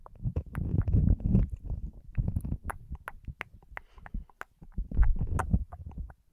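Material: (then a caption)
Vinyl. A thin, flexible black woven-mesh vinyl placemat wrapped over a microphone is scratched and rubbed with the fingertips and short nails of both hands. The result is close, muffled rumbling and thumping, heavy in the low end, broken by irregular scratchy rustles and sharp bright ticks.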